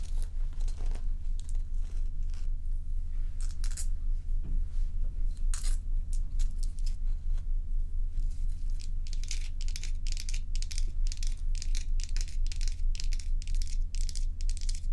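Long acrylic nails tap and scratch the surface of a large, solid, dome-shaped block of clear and frosted ice, frozen in a bowl and held and turned in both hands. Short, bright scratching and tapping sounds come in quick, irregular bursts over a steady low hum, growing busier in the second half.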